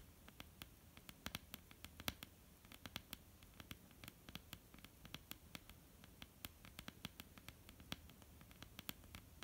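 Long almond-shaped painted nails of both hands tap on a flat, solid wooden tabletop. The result is a quiet, steady patter of short, bright clicks that decay almost instantly over a faint low hum.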